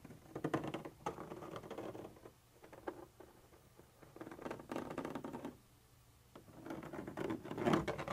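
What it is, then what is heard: Textured plastic surface. The pointed tip of a black pointer scratches and taps a white textured plastic surface, part of a hollow container wall with a molded ridge. Soft, dry scratching patter comes in bursts separated by quiet pauses, with a mid-range tone and little high or low content. The strokes are irregular, and the loudest burst comes near the end.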